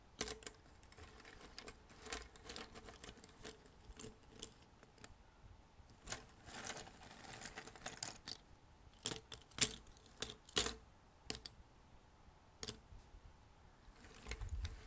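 Fingers sweep and rummage through a pile of small, thin cardboard jigsaw puzzle pieces on a red table. The result is quiet, dry, bright clicks and rustles with short, sharp ticks scattered throughout and a softer shuffling in between.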